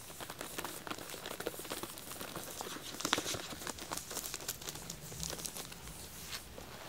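Fingertips and nails scratch and tap the plastic shrink-wrap over a full pack of solid white wax tealights in aluminum cups with a black paper label. The result is a steady stream of quiet, bright crinkles with quick, dry taps that die away almost instantly, with a slightly louder tap around the middle.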